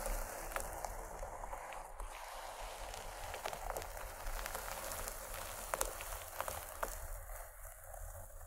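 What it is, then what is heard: Fabric pencil case. Long nails on both hands scratch the paisley cloth of a fabric pencil case near one end. The result is a steady, soft, dry crackling rasp with a low rumble beneath it and faint bright ticks scattered throughout.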